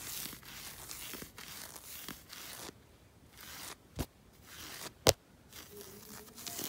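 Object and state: Knit fabric sock being scratched.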